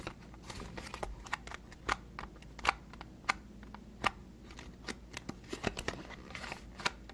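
A small, hollow white cardboard moisturizer box is tapped and scratched with fingernails while being turned in the hands. Sharp, dry taps rise irregularly above a soft, steady scratching and handling rustle, with quick bright clicks that die away almost instantly.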